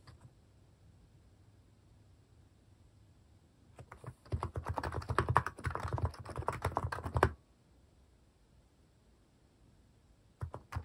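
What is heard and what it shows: Fingertips type on a white-case Hanmumu mechanical keyboard fitted with pastel plastic cat-shaped keycaps. After a near-silent stretch, a rapid, uneven burst of short, dry clacks runs from about four to seven seconds, with a solid low thud under brighter clicks. A few more keystrokes follow at the very end.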